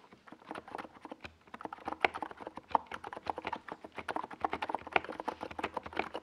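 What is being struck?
Plastic mechanical keyboard.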